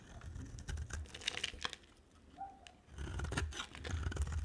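A utility knife blade scrapes and carves the surface of a dry, solid green and white striped soap bar held in the hand. Dry, crunchy rasping strokes with bright scratchy edges ride over a low rumble, easing off into a quieter stretch midway before louder scraping resumes.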